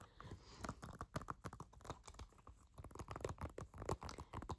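Fingertips tap on a plastic Mario Party video game case in a quick, irregular pattern. The taps are soft, dull and low-heavy, each dying away almost at once, with faint scratchy contact between them.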